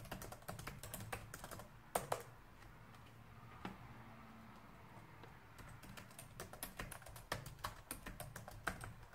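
Fingertips type steadily on a black plastic laptop keyboard, producing quick, dry key taps with sharp clicky tops and almost no ring. The taps come in brisk runs, thin out to a few isolated presses through the middle, then pick up again. A faint low hum sits underneath.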